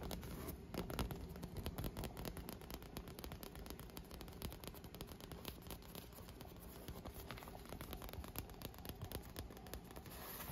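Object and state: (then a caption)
Inflated vinyl pool lounger, hollow. Fingernails and fingertips tap the clear, inflated PVC vinyl headrest or tube of a pool lounge, hollow and filled with air. The result is a quiet, steady stream of rapid, dull taps with a boomy low thump and faint crackly scratching on top. Each tap dies away quickly.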